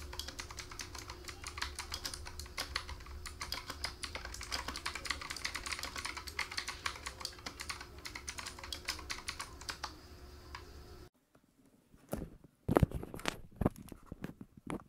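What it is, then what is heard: Plastic mechanical keyboard. Both hands type with their fingertips on a black plastic K28 mechanical keyboard with a wrist rest, sitting on a foam mat, giving a fast, continuous run of bright clicking keystrokes over a low hum and a steady faint tone. After about eleven seconds the background drops away, leaving a few sparse, louder key presses that click sharply and stop quickly.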